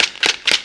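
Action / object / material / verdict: shake / dried gourd shell with seeds / dried gourd / loose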